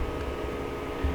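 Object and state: Nothing is struck.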